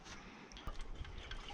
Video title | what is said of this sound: 1975 Chevy diesel pickup revival on a budget--will the Isuzu run after 32 years? -- Part 2 | can hear water sloshing. She still has water in her.